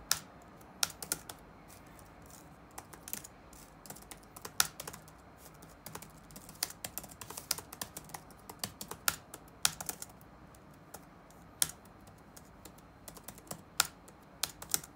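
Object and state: Plastic laptop keyboard.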